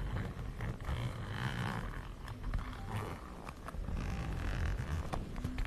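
A zip wallet made of plaid fabric with brown faux-leather panels is held close to the mic while long nails scratch and tap across it, and the zipper may also be handled. The sound is a steady, close, low-heavy rustle broken by many short scratchy taps, with a brief grinding rasp in places.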